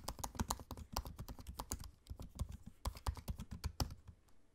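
Fingertips of both hands type on the low-profile black plastic keys of a space-grey aluminium laptop. A quick, uneven run of soft, dull clicks and taps follows, each with a brief bright tick on top. There is a short lull in the middle before the typing picks up again and trails off.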